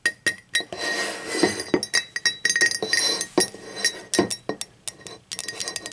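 Long acrylic nails tap and clink on the body of a hollow, empty, speckled teal ceramic mug as it is turned over and set upright. A quick, uneven run of bright, glassy clicks and clinks follows, each dying away almost instantly over a faint, steady ring around 2 kHz, with occasional duller knocks from handling.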